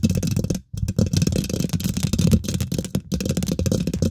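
Long nails and fingertips on both hands quickly scratch and tap the domed, hollow woven metal mesh grille of a large silver condenser microphone. The result is a dense, close, low-heavy stream of scraping rattles and soft taps. It is broken by brief silences near 0.6 and 3 seconds.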